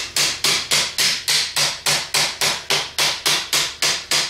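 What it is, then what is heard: Cast aluminum car alternator. A Ford 3G car alternator with a cast aluminum housing and steel rotor, lying on a cardboard sheet on a workbench, is held steady by a gloved hand and struck repeatedly with a ball-peen hammer. Fifteen sharp, bright metallic hits land at a steady, fast pace. Each hit rings briefly before fading.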